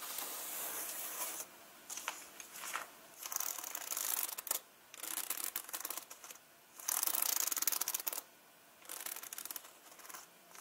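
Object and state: Leather handbag being scratched.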